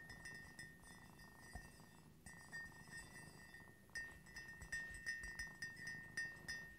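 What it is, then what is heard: Ceramic coffee mug. Fingertips and nails tap the rim and inner walls of an empty, upright white ceramic coffee mug with a cream-glazed interior. Each tap rings with a clear, high tone near 1.8 kHz. The taps are soft at first, then come as a quicker run of sharper, brighter clinks.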